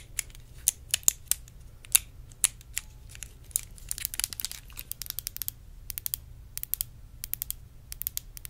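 A small clear faceted glass perfume bottle is held close to the microphone and tapped and scratched with long acrylic nails. Sharp, bright clicks and taps come in irregular bursts, mixed with thin scratchy rasps over a faint, steady low hum. Each tap is very short and dies away instantly, with no ringing.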